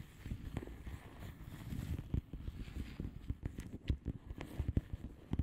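Long polished nails of both hands tap and scratch the plastic bubble wrap surface of a flat padded envelope. The sound is a soft, muffled run of dull low taps mixed with faint scratching, with each tap dying away almost instantly.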